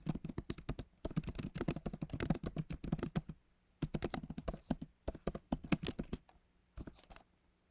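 Fingertips of both hands type on the backlit plastic keys of a MacBook Pro keyboard set in its aluminum body, which feels solid. Quick runs of short, dull taps with soft clicky tops come in bursts, separated by brief pauses. Each keystroke dies away almost instantly.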